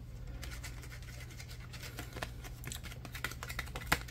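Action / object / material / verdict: scrape / thin plastic card / plastic / none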